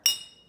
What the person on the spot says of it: The jar with no water makes this sound.